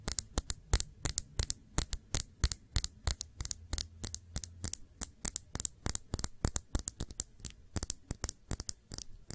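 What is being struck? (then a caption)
Small glass shot glass. Long nails tap quickly and steadily on the sides of a small, clear, hollow glass shot glass, which is empty and held upright. Each sharp tap gives a bright, high glassy ping that dies away almost at once, with a soft low thud underneath.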